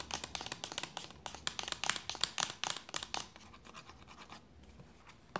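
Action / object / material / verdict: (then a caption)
scrape / plastic lotion bottle / plastic / none. Long nails scratch and tap near the cap end of a hollow white plastic lotion bottle with a red plastic cap. A quick run of bright, crisp clicking taps and scratches comes first, then softer, quieter scratching that ends with one sharper tap.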